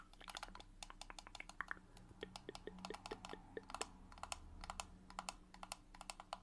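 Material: Plastic.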